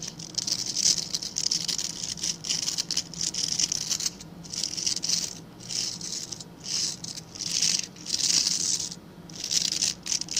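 Fingertips scratch and rub through the dark synthetic bristles of a hand-sized scrub brush with a plastic back. The result is dense, bright, crackly rattling in repeated bursts separated by brief quieter gaps, with almost no low end.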